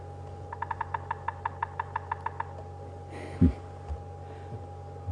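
A bearded woodpecker drums its territorial tap on a dead knob thorn tree trunk, a perfectly hollow dead tree of very hard wood that it dents rather than holes. Over a dozen sharp, dry taps ring out in a quick roll that slows slightly, each dying away almost at once, followed by a few low thumps. The hollow trunk carries the sound.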